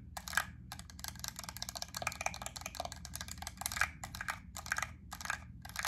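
Long acrylic nails tap and scratch a small clear plastic clamshell pack of solid white wax melt cubes with a yellow paper label on the back. The result is a rapid, dense stream of crisp, bright plastic clicks and scratchy rustles that die away almost instantly, over a faint steady low hum.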